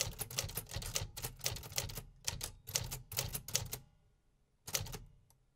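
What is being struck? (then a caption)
Manual typewriter with metal keys. Fingertips type steadily on the metal keys of a vintage 1950s manual typewriter, producing a rapid run of sharp, bright clacks over a low mechanical thump, with brief gaps between bursts. The typing stops for almost a second, then one last short burst of keystrokes fades out.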